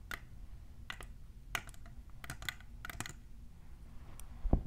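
Long nails with plastic clip extensions tap and scratch the side of a tall, hollow, clear printed plastic tumbler. Sharp, bright clicks land at irregular intervals over a steady low hum, ending with a louder, duller knock.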